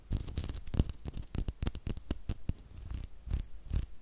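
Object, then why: Wooden brush back. Long nails scratch and tap the solid, flat light-wood back of a small butterfly-shaped brush close to the mic. The result is a quick run of dry, soft taps and scratchy strokes, mostly low and thudding with brief bright edges, each dying out almost at once.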